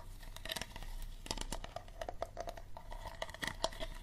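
Fingernails tap and scratch the body and label of an empty, hollow, clear plastic water bottle with a green plastic cap. Quick, dry taps ring briefly with a hollow tone around 650 Hz. Crinkly scratching and rustle fill the gaps, with a steady low rumble underneath.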